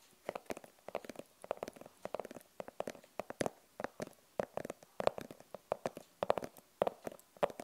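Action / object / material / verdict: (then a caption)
tap / fabric-covered hard glasses case / fabric over plastic / none. Long purple nails tap quickly and scratch across the front of a closed, hollow, rigid glasses case with a printed fabric cover. About 35 short, dry clicks with a hollow mid-range knock around 600 Hz come in rapid uneven bursts, with faint scratchy rustling between them and almost no ring after each tap.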